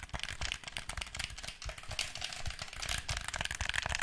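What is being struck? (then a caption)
Hand-held plastic game controller. Fingertips and nails tap rapidly on the shell and buttons of a black PlayStation 4 plastic controller, hand-sized and hollow, held in front of the mic. The result is a dense run of dry, bright clicks with faint hollow low knocks underneath, each one ending almost instantly.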